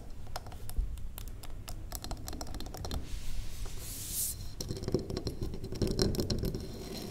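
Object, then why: Wax pillar candle. Long acrylic nails on both hands tap rapidly across the faces of a large, square, solid wax pillar candle. The taps are short, dull clicks with little ring, and a brief bright scratchy hiss comes midway before the tapping picks back up.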